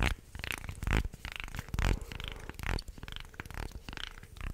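A wooden articulated shark toy, made of segments, is held in both hands and bent so the joints creak and click while fingertips rub along its ridges. The result is a string of low, grinding creaks broken by sharp, bright clicks, with a few louder crunching swells in the middle.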